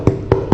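A freshly baked country bread loaf, shaped as a pain d'Aix or tabatière, is tapped three times on its underside to check the bake. Each tap gives a short, dull, low hollow knock. The hollow sound shows the loaf is well baked, and it also has a nice colour.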